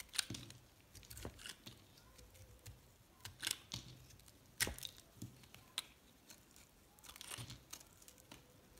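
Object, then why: Solid soap bar scraped with a metal blade. A metal box-cutter blade scrapes shavings off a light green solid recycled soap bar with blue flecks. Short, crisp, crunchy scraping bursts come at an irregular pace, bright and high with little low end. Each scrape stops abruptly, with quiet pauses between.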